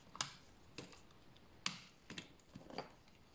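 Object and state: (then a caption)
Dry soap bar scraped with a blade. A solid bar of dry beige soap, held in the hands, is scraped with a blade to make shavings for washing. Five short, dry, bright scraping clicks land at uneven intervals, each dying away almost at once over a quiet background.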